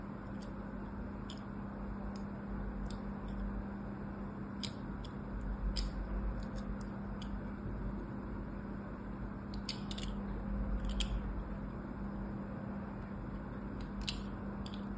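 A solid orange bar of soap, held in one hand above a table, is scored in a crosshatch pattern with a small craft knife by the other hand, which has long orange nails. Soft, irregular scratching cuts produce short, bright ticks over a steady low hum and rumble.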